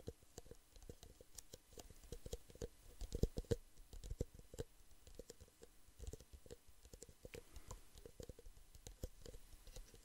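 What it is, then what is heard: Plastic cups tapped. Fingertips and nails tap on the walls of two identical empty clear plastic drinking cups, small and hollow, one held in each hand. Dozens of quick, light, dry clicks patter in an uneven rhythm over ten seconds, with a few louder taps near the three-second mark. Each tap dies away almost at once, leaving a faint hollow tone.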